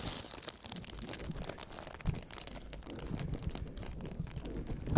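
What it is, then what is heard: Crinkled plastic sheet. A large, crumpled sheet of clear plastic film is held up in front of the microphones, then pressed flat and rubbed with the fingertips of both gloved hands. It makes a continuous, dense crinkling and crackling with bright, crisp edges over a soft low rustle. Slightly louder crackles come around the two-second mark and just before the end.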